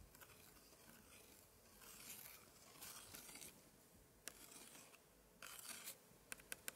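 A gloved hand scratches and traces a long, thin pointer stick across the open spread of an 1880s antique scrapbook with thick paper pages of glued cards. Quiet, bright scratchy rubbing comes in bursts of longer strokes, then gives way to a few short, sharp ticks toward the end.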